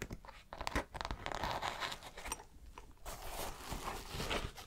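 Fingertips and long nails scratch and rub the side panel of a dark green synthetic canvas nylon fabric backpack. Close, dry, crinkly scratching and rustling rises and falls in quick, uneven strokes, with brief sharper scrapes along the way.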